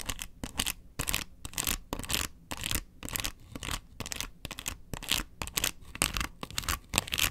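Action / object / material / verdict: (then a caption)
scrape / plastic box lid / plastic / none. Long nails scratch across the ridges of a hollow, round yellow plastic box lid. The result is a rapid, uneven series of short, bright, raspy scratching bursts with quiet gaps between strokes and a faint hollow low thump under each one.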